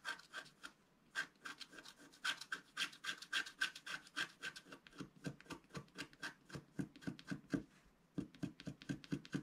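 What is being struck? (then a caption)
Black-coated scratch art paper sheet scratched with a wooden stylus. A wooden stylus scratches the black coating near the lower edge of a flat, thin scratch art paper sheet lying on a table, while a hand holds the sheet flat. Quick, dry, rasping strokes repeat about four times a second in uneven bursts, with short pauses near the start and near the end. Each stroke is brief with a bright, papery edge.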